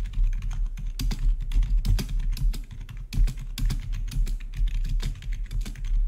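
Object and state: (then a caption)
Plastic membrane keyboard being typed on. Fingertips of both hands type rapidly on the keycaps of a full-size black plastic membrane-style gaming keyboard with blue-to-red backlit keys. A quick, uneven stream of short, sharp plastic key taps, each bright and clipped, rides over a steady low hum that persists throughout.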